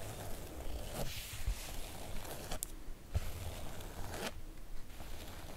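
Long acrylic nails scratch and drag across the coated surface of a floral PVC-coated oilcloth make-up bag. The result is a series of raspy, zipper-like strokes with bright hissy edges over a steady low rumble.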